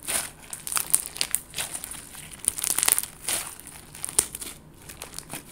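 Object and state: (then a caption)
Clear slime with confetti sequins. A palm-sized clear slime packed with colorful confetti sequins, soft and solid, is squeezed and kneaded with fingertips and long gold nails. It gives off a steady run of bright, crinkly crackles and sharp little clicks, with almost no low end.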